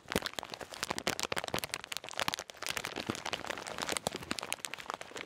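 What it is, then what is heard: Plastic bag of salted peanuts being crinkled. A full plastic bag of salted peanuts is kneaded and crinkled with the fingertips close to the mic. It makes a dense, continuous run of bright crackles and crinkles with short, sharp snaps and almost no low end, steady throughout with a brief dip in the middle.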